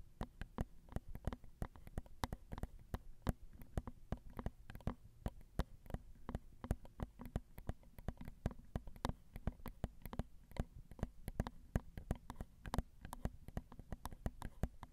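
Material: Metal.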